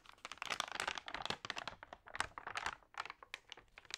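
Long-nailed fingers rub and turn the wavy, damp pages of an open, water-sprayed glossy paper magazine. Dense, quiet crinkling and crackling come in quick, bright bursts with very little low end, swelling and fading as the pages move.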